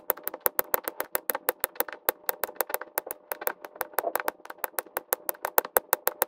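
Plastic resin drills are pressed onto the same section of an adhesive resin diamond painting canvas by quick taps of a pink drill pen held in the fingers, sped up in time lapse. About forty short, dry clicks follow one another rapidly and fairly evenly. Each has a bright, high snap over a faint mid-pitched tone and dies away almost instantly.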